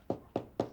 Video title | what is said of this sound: Fundamentals of Baking: Bread— Rustic Sourdough Bread | you hear that Hollow sound and that is just kind of that Telltale sign that it is ready it is absolutely perfect